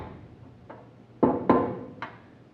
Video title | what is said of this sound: Making a dustpan | tap on it a couple times. Don't have to do it super hard. If this sounds solid like that, you should be good